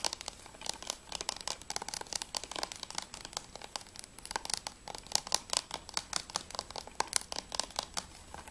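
Fingertips and nails rapidly tap and scratch the front cover and spine of a thin, hollow, hard-plastic Assassin's Creed III PS3 Blu-ray case with a clear plastic sleeve, holding a disc. The result is a dense stream of quick, dry, bright clicks and crinkly scratches with almost no low end and no ring after each tap.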